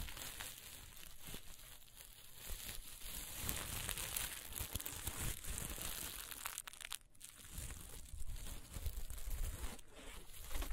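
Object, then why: Plastic sequin fabric. Green and black plastic sequin fabric is held and pinched in the hands, then scratched with long nails. The result is a continuous, fast crinkling and rustling with bright, scratchy textures over a low rumble, rising and falling in busy bursts without clear gaps.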